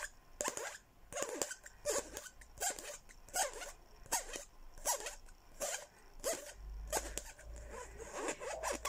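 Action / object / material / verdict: tap / plastic cup / plastic / none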